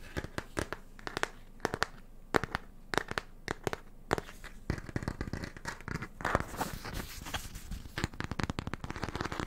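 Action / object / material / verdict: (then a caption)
scrape / paper-covered cardboard hardcover book / cardboard / none. Fingertips and nails scratch and tap the front cover of a small yellow Peanuts hardcover book, "Thoughts on Getting Well", with a printed paper-covered board cover, held closed in the hands. The sound is a dense series of short, dry taps and crackly scratches, with sharp clicks and rough, papery scratching that builds into a near-continuous rasp in the second half.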